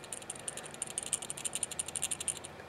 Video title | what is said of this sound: Dino Direct 50mw Green Laser - Physical Review | if we take it and we shake this part we can still hear a rattle